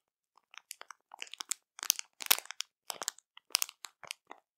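Long matte nails on both hands tap and scratch a full, soft printed plastic bag of Zakręcone marshmallows. Irregular, bright crinkly crunches come in quick, short bursts with no ring, quiet overall.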